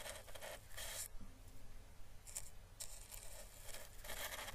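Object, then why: Chinese lantern seed husk. A hollow, orange, papery dried Chinese lantern husk is held between the fingers and slowly brushed with a paintbrush. Soft, bright, crackling papery strokes come in uneven bursts with brief quieter gaps, over a faint low hum.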